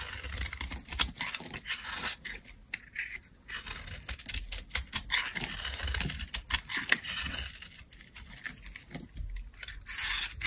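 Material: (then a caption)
Soap. A small metal blade carves and scrapes a palm-sized, pale beige stamped bar of dry laundry soap held in a hand with long nails, sending flakes falling. Dense, crisp scrapes and dry crackling clicks come in quick irregular bursts, bright and hissy with almost no ring.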